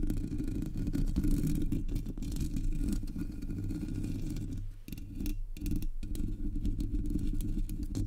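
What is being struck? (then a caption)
Metal mesh microphone grille. Long nails tap and scratch across the top and sides of the hollow black metal mesh grille on a Blue Yeti microphone. The result is a dense, continuous low rumbling scrape with rapid, gritty tapping, heavy in the low end. It briefly quiets just before the five-second mark, then resumes.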